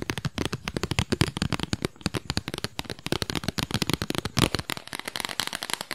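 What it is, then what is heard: Cardboard album sleeve. Long nails quickly tap and scratch a small, flat, square cardboard album sleeve with a printed disc, held up near the microphone. Dozens of short, dry, crisp taps come in a rapid, uneven stream, with papery scratching and a bright, crackly edge, each tap dying away almost at once.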